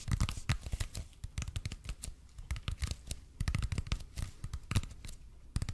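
Fingertips and nails tap and scratch the surface of a red and white speckled expanded polypropylene (EPP) foam roller held in both hands. The result is a quick, uneven run of short, dull, low thuds, each with a crisp, bright click at the edge, mixed with soft scratching between taps. The sounds die away almost instantly.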